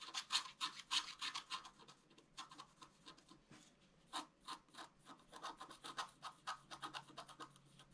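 A bamboo stylus scratches the flat black wax-coated paper of a scratch art card near its lower area, making continuous scratching strokes. The quiet, dry, bright rasps come in quick uneven bursts of about three per second, with a brief lull in the middle.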